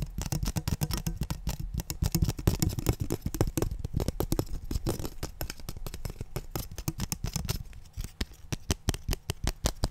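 A long, thin, flat, transparent blue plastic ruler held in both hands is tapped and scratched with fingertips and nails. Rapid, dense clicks and scratchy rasps run steadily for about ten seconds, with a dull low thump behind each tap and almost no ring.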